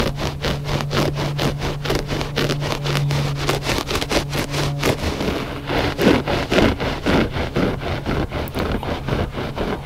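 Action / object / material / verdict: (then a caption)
scrape / looped-pile carpet rug / carpet fibre / none. Fingertips and short nails scratch quickly across the loops of a gray looped-pile carpet rug, close up. The result is a steady run of fast, rhythmic raspy strokes, about two per second, with a bright scratchy texture over a faint steady low hum.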